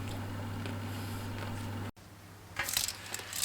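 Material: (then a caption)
Baked dough. Homemade baked garlic cheese crackers, left to cool in the oven so they turn crisp, are handled and clink together. A steady low hum fills the first two seconds and then cuts out, followed by a run of bright, sharp clinks and clicks. The crackers sound crisp all the way through.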